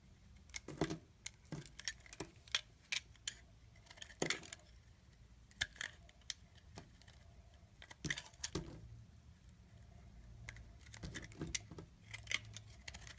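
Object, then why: Solid soap bar. A utility knife blade slices and shaves thick strips off a solid oval green soap bar held in the palm, with a fingertip pressing the cut face. Many short, crisp, bright cutting clicks and scrapes come in irregular clusters over a quiet background.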